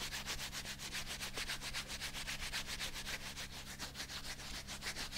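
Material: Rubber.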